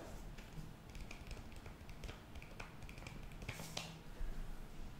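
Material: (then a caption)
Foil-lined paper. Long nails tap and scratch across a flat, foil-lined paper sheet mask sachet. Soft, bright clicks and crinkly scraping sounds come in quick, uneven bursts over a low, steady background rumble. The sounds get a bit louder toward the end.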